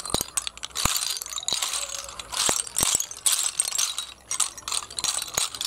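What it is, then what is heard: Empty snail shells clattering. A heap of small, hollow, empty snail shells on concrete is gathered and pushed by both hands. The shells give off a bright, dense clatter of crisp clicks and rattles, with sharp individual ticks standing out over a steady rustling bed and almost no low end.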